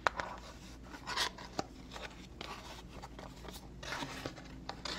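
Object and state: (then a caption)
Cardboard box tapped and scratched. A small, hollow cardboard box with a floral print is turned in the hands and tapped and scratched with long fingernails. Sharp, dry clicks and papery scratching rustles come in uneven bursts over a low, steady background hum.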